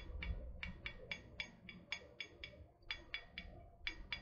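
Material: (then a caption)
Metal. Long painted nails tap a tall, hollow, printed metal water bottle held close to the mic. A steady series of short, bright clicks rings briefly against a quiet, low background hum.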